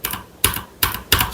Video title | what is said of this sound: Redragon’s Best Wireless Keyboard Yet? (K621 TKL Review) | you tap it, you can hear a little bit of rattle to it, but it's not massive